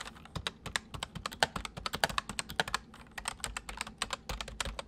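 Steady, fast typing on a full-size white plastic mechanical keyboard with white keycaps, resting on a wooden desk, as both hands press and tap the keys with their fingertips. The keystrokes come as dense, short, bright clicks with quick decay, some landing harder than others over a faint low background hum.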